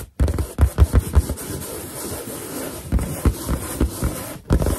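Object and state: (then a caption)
Latex balloon. Long dark green and black nails tap, scratch and rub the surface of a large inflated white latex balloon with a drawn cartoon boar face. About nine soft, deep, hollow thumps stand out over a steady low rubbing and scraping texture, each tap dying away almost instantly.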